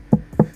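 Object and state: Thin MDF subwoofer box panel.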